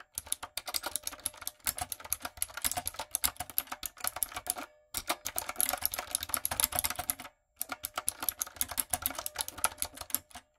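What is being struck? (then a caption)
Mechanical keyboard with round plastic keycaps. Fingertips and long coffin nails type rapidly on a typewriter-style backlit mechanical keyboard with round brown plastic keycaps on a dark frame. Quick, bright plastic clicks come in three dense runs separated by brief pauses. Each tap is short with almost no ring and little low end.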